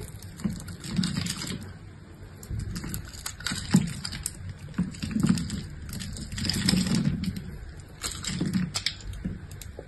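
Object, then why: Bar of soap cut with a knife. An orange-handled utility knife cuts and scrapes a solid, hand-sized pink bar of soap held in one hand, its surface scored in a crosshatch pattern. Crisp, crunchy cutting strokes come in irregular bursts, with a soft low body under bright crackly scraping. Small soap cubes and flakes shed onto the pile.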